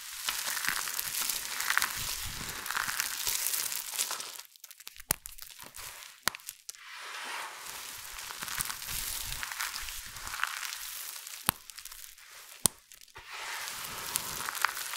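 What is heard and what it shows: Hands scoop and squeeze handfuls from a large heap of small, multicolored dry soap flakes, then long nails rake across the surface. The result is a dense, bright crackling and crunching rustle with little low end. It pauses into quieter stretches around 4.5–7 s and near 13 s, where only a few sharp clicks stand out.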